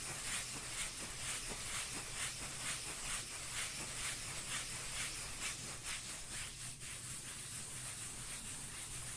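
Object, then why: Cork lid. A cork lid is scratched and rubbed in a steady back-and-forth rhythm, about two strokes per second. It makes a continuous, bright, hissy sanding sound over a constant low hum. No distinct taps stand out.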